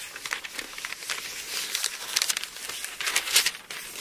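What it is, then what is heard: Thin paper book pages. An open Bible with thin paper pages is held in both hands as the pages are flexed and turned, then rubbed flat with the palm. The result is a steady, bright crinkling and rustling with quick papery bursts and almost no low end.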